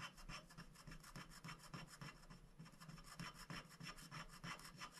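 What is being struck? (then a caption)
Black-coated scratch-art paper on a glass board, wooden stick. A wooden stick scratches the black coating off a thin, flat scratch-art sticker sheet of black-coated paper, which lies on a glass board while a hand holds it. Short, rapid scraping strokes repeat at a quick, somewhat uneven pace. Each stroke is a dry, bright rasp over a low hum of contact.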